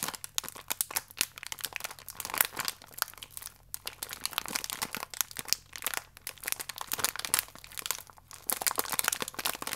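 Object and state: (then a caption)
Crinkled plastic biscuit wrapper. A small, full plastic-film biscuit pack is stretched and crinkled with fingertips. A dense, continuous run of bright, crackling crinkles fills the clip in quick uneven bursts, with almost no low end.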